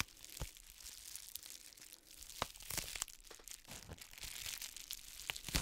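An iridescent plastic bubble-wrap mailer lies flat, holding a boxed palette, and is crinkled and scratched with long manicured nails. The result is a quiet, bright crinkling and scratching texture. Many sharp clicks and taps stand out from it, and there is a little low thump.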